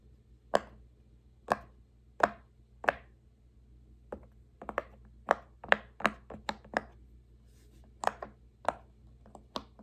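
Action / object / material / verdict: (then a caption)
tap / silicone pop-it fidget toy / silicone / none. Fingertips press the hollow bubbles of a large square rainbow silicone pop-it fidget toy row by row. The result is 15 short, dry popping clicks with almost no ring, spaced unevenly and sometimes in quick pairs, over a faint steady low hum.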